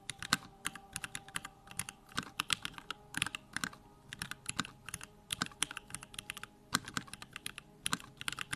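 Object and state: Mechanical keyboard with plastic keycaps.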